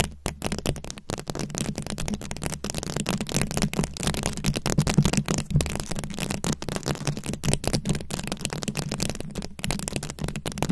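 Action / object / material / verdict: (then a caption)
scrape / microphone head covered in plastic rhinestones and beads / plastic / none. Very long acrylic nails scratch and tap a round, fist-sized microphone head covered in plastic rhinestones and beads. The result is a dense, continuous stream of crackling scratches and sharp clicks over a steady low hum, with no pause across the clip.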